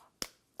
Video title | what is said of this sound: Simple Stuffed Dough Recipes - Ciao Italia | You'll know it's good chocolate when you hear that crackle. See how crispy that breaks?